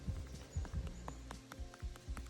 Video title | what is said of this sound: On va aux champignons : une avalanche de cèpes | si ça sonne bien plein, c'est bon, vous pouvez le prendre